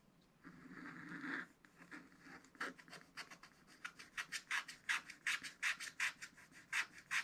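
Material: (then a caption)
Coated paper. A wooden stylus rubs and scratches the coating of a thin black wax-coated scratch-art paper page in a spiral pad. It starts with one longer, soft scraping rub, then moves into quick, fairly steady back-and-forth strokes. Each stroke gives a short, dry, bright scratch with no ring.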